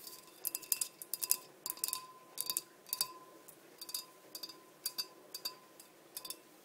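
Long nails tap the sides of a large, clear, empty glass blender jar with measurement markings, sitting on a black base. Quick clusters of bright, sharp clicks sound in uneven bursts, each dying away almost at once, with almost no low end. A faint steady tone near 1 kHz runs underneath.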